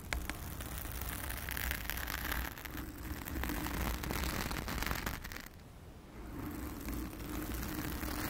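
Long acrylic nails on both hands scratch a blue foam cover on a round studio microphone. The result is a dense, continuous scratchy rustle with a heavy low rumble and bright crackle. It dips quieter for a moment partway through, then resumes.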